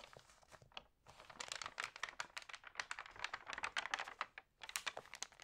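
An open paper magazine lies flat on a table at its TV-guide pages while hands rub, crinkle and turn the dampened pages. Dense, bright crackling bursts of papery crinkle come in quick clusters, with almost no low end and brief quiet gaps between handlings.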